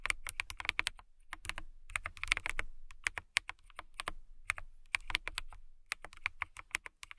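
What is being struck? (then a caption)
Plastic mechanical keyboard. Long-nailed fingertips type on a clear plastic mechanical keyboard with transparent keycaps. It makes quick, bright, clicky taps that come in uneven bursts with short pauses, each tap dying away almost at once.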